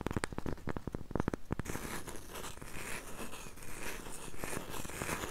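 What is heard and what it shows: Long nails tap and scratch the surface of a solid, round, flat cork coaster held in both hands. A quick run of dull, distinct taps gives way after about a second and a half to a steady, bright, papery scratching that continues to the end.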